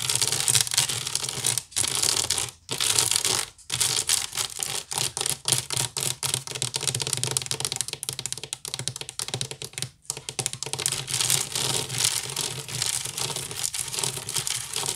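An empty, hollow woven wicker basket is scratched fast with the long pink nails of both hands. The result is a dense, continuous stream of dry, bright scratching and crackling, mostly high in tone with little low end, broken by a few brief pauses in the first few seconds and near the ten-second mark.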